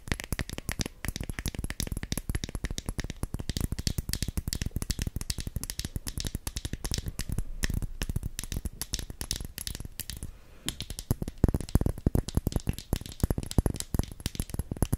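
A small, filled glass foundation bottle with its cap on is held horizontally above the microphone and tapped with long nails. The result is a continuous stream of rapid, dry clicks with a low thump under each tap. A brief quieter pause comes near the middle before the tapping picks up again.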